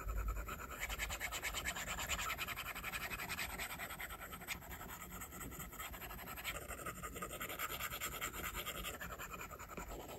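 A plastic stylus tip draws scratching strokes across the glass screen of an iPad. A steady stream of dry, bright scratching and tapping runs almost unbroken, with short bursts that swell and fade as the strokes change, and the level stays fairly even throughout.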